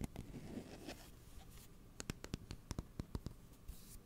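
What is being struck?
Closed steel kitchen scissors with plastic handles.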